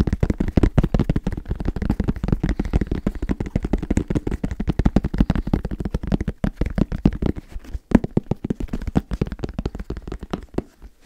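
Fingers tap rapidly on a small snus container, producing a dense, continuous stream of short, dry clicks. The taps are low and muffled with almost no high end, each dying away almost instantly, and they thin out slightly toward the end.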